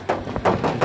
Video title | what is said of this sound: Cek Unit Mobil Bekas Suzuki Sidekick Drag-1 Tahun 2000 | untuk kap mesin ini masih ngaleng